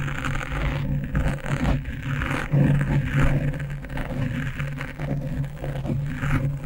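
Fingernails scratch fast with both hands over a black foam windscreen on a microphone. The result is a dense, continuous rustling scrape that is mostly low and muffled, with a steady hum near 160 Hz underneath.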